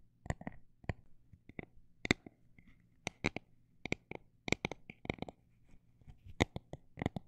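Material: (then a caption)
Plastic. Fingernails tap on a textured plastic item at a mix of fast and slow paces, giving about twenty short, dry clicks with no ring. The taps come in uneven bursts and single strikes over a faint, steady low hum.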